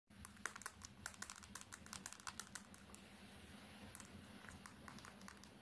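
Long painted nails tap quickly on the glass screen of a small, thin, solid smartphone with a black bezel, held in one hand with the lock screen showing. Rapid, sharp, bright clicks come in a dense, uneven burst, then continue more softly over a faint steady low hum.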